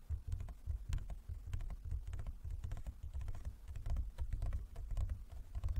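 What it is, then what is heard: Wooden folding chess board tapped. A large, closed, hollow wooden folding chess board is tapped with the fingertips and nails of both hands. The rapid, uneven taps give short clicks with a deep, hollow low-end resonance under each stroke.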